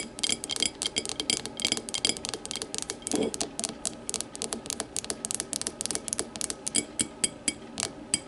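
Long matte nails scratch and tap the thick base and sides of a small, empty, clear glass whiskey tumbler lying on its side. A rapid, uneven stream of bright, high clicks and ticks with short, dry rings continues throughout, with a few louder taps standing out.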